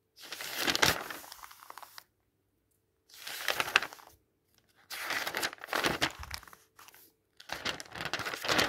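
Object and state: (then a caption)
Paper catalog pages being turned. A thin paper catalog with white text pages lies open flat on a table while fingertips turn its pages and the palm flattens and rubs them. Bursts of bright, dry rustling and crinkling come in four or five separate stretches, each fading to silence in between.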